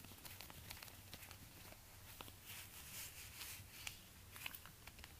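Orange rubber-gloved fingertips tap and scratch the suede upper of a single empty black suede high-heel ankle boot with a plastic stiletto heel, held up in front of a door. Quiet, dry brushing scratches and short, soft taps sit over a faint low hum, with a few sharper clicks standing out.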